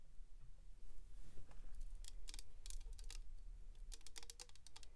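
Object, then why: Small hard-plastic box filled with glitter. Long pink acrylic nails tap quickly on a small, hollow, clear hard-plastic box filled with silver glitter, held in the hand. The taps are short, bright clicks that come in irregular bursts and stop almost at once, over a steady low hum.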